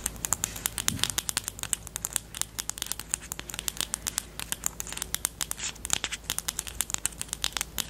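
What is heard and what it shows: Long teal nails scratch and tap the barrel of a pastel pink plastic highlighter pen with a black cap, held close up. A rapid stream of sharp, bright clicks and crisp scratches rides over a faint low hum, each click dying away almost instantly.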